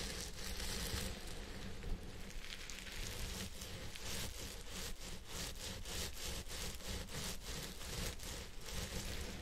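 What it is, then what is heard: Synthetic fiber wig being scratched. Fingertips of both hands rub and slowly scratch the fibers of a purple synthetic wig on a head form. The result is a steady, dense rustling and scratching with bright, hissy texture over a constant low hum, and faint soft strokes rise and fall throughout.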